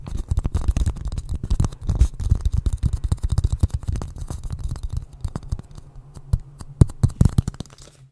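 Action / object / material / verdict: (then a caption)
tap / small wooden bowl / wood / none. Fingertips and nails scratch and tap the curved outside of a small, hollow, polished wooden bowl held upside down over a microphone. Dense, muffled, low-pitched thumps and scrapes run quickly for the first five seconds, then thin out into sparser, sharper taps, with a few louder knocks near the end.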